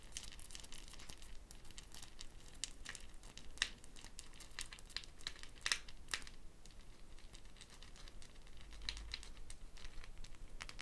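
Long painted fingernails scratch and flick the small wooden beads strung in a net around a hollow dried gourd shaker held by its handle. The result is a quiet, continuous crackle of dense, bright, dry clicks and rattling ticks, with a few sharper flicks standing out over a faint low rumble.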